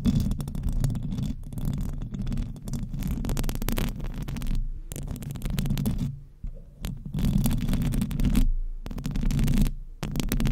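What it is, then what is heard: Metal microphone grille being scratched. Long acrylic nails scratch all over the hollow metal mesh grille of a silver microphone with both hands. The result is a dense, boomy scraping rumble, heavy in the low end with faint bright crackle. It plays in bursts, broken by a few short silent gaps.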